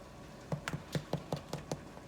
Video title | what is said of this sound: Irish Brown Bread | it should sound a hollow on the bottom side when you tap it